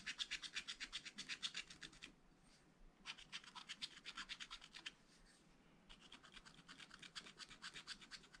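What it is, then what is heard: Scratch-art paper being scratched. A wooden stylus makes rapid scratching strokes across a black coated scratch-art paper page in a spiral pad. Quick, bright, rasping scratches come in three steady runs, separated by two short pauses of near silence.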